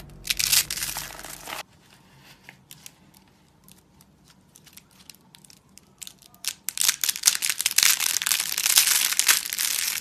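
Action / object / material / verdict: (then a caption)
scrape / rolled rose of thin soap shavings / soap / none. A hand-sized rose of thin, dry, dark soap shavings rolled in a spiral is squeezed and crushed between bare fingers into brittle flakes, with green soap slabs sitting untouched nearby. A loud burst of dry, bright crunching gives way to several seconds of faint, scattered crackles and snaps. Then dense, crisp crunching and crinkling builds and continues to the end.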